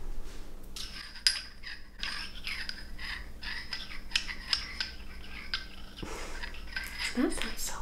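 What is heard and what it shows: A small glass stopper with a frosted end is moved and clinked inside the frosted neck of a glass bottle. Quiet grinding scrapes alternate with short, bright glassy clinks that fade almost instantly.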